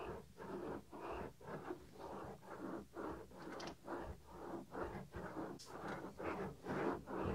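A fingertip rubs the small, solid white soft silicone ear cover on a 3Dio binaural microphone. It makes steady, repeated scraping strokes at roughly two per second, close and muffled, with most of the energy in the low-mid range and little brightness.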